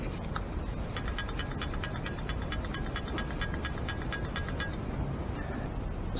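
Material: Steel.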